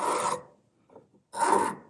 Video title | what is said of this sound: Making a Stamp from Old Tools! | you hear that kind of glassy sound